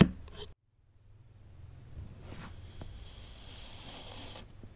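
A black metal knife blade slices through a solid block of blue kinetic sand pressed into a small cup shape on a white table. A brief scrape is followed by a silence, then a low, soft, crunchy scraping cut grows as slabs of sand separate, with a faint bright hiss above it.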